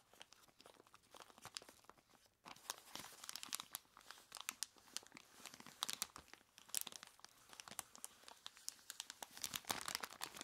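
Long plastic claws grip, squeeze and scratch a large clear plastic bag full of ice cubes. A quiet, dense stream of bright crinkling and crackling with sharp, short clicks plays throughout, dipping briefly around 2.4 seconds before picking up again and growing busier toward the end.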